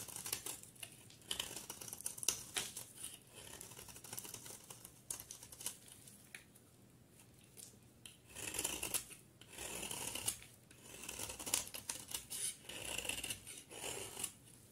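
A utility knife blade scrapes and carves a solid cream bar of soap with yellow edges into curls and flakes. The result is a quiet run of crisp, bright, dry scraping and crackling, with short rapid strokes early on. Longer, louder shaving passes come in the second half.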